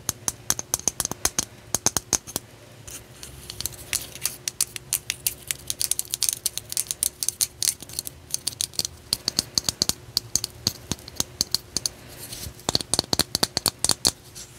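A solid, palm-sized selenite crystal slab is held up and turned in the hands while long nails tap and scratch it. Dozens of quick, bright, clicky taps come in uneven bursts, with soft scratching between them and a faint steady hum underneath.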